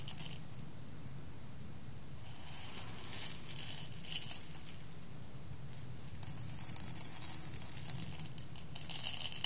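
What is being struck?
Roasted coffee beans in a glass bowl.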